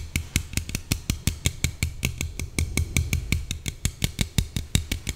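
Long painted nails tap and scratch along the side of a small, slim red Coca-Cola aluminium can held in one hand. About 28 quick, dry taps follow one another in a steady but slightly uneven rhythm, each a short bright click over a hollow low thump. A faint scratchy rustle sits between the taps.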